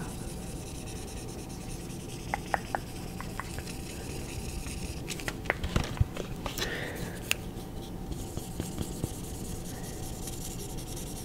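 A red dry-erase marker repeatedly rubs and scratches across a small handheld dry-erase board with a glossy laminated surface and a plastic frame, held upright, filling in a pink triangle. Soft, steady low rubbing runs throughout, with sharp little taps and squeaky scratches clustering in the middle of the clip.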